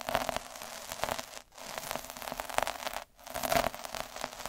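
A hand rolls a needle roller with a metal drum over a flat red felt sheet, scratching the fibres. The result is a steady, dense, crackling scratch with a faint tonal hum around 715 Hz. It breaks off briefly twice, near 1.5 and 3.1 seconds, as the roller lifts and starts again.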